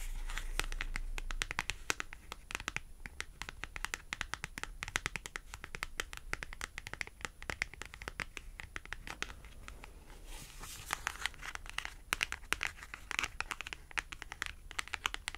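Acrylic nails scratch along the edge of a long, thin white barcode paper clothing price tag held in the hand and tap on it. The result is a dense, steady run of sharp, dry clicks and crisp, bright scratches with no ring, over a faint low hum at the very start.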